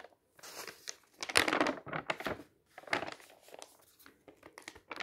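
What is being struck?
Thin paper booklet with printed tables.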